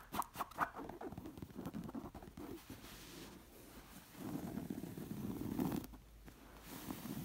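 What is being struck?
Stuffed cotton cushion with embroidered front.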